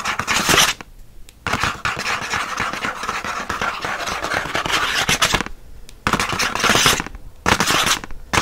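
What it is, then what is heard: Paperboard package backing scratched. Fingernails scratch quickly across the printed surface of a paperboard pen package backing, producing a dry, papery, broadband rasping with most of its energy in the upper range. The scratching comes in dense bursts separated by brief quiet gaps.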